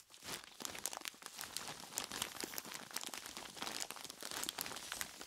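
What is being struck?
Plastic bag full of ice cubes.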